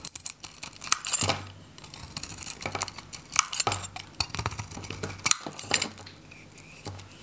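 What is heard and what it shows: A metal utility knife scrapes and cuts curls from the face of a hand-held, solid, orange, varnished dry Godrej No.1 soap bar. Repeated bright, crisp scraping strokes and sharp cutting crackles come in bursts with almost no ring and little low end.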